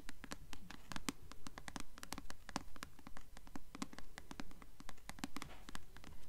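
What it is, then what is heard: Paperback book cover tapped and scratched. Long nails scratch and tap the glossy paper cover of the blue paperback novel "Delirium," held upright, making quiet, dry, crisp clicks with a soft scratching texture. The taps come in a steady, fairly regular rhythm of about two per second. Each one is a sharp, bright transient with no ring and a low body around 270 Hz.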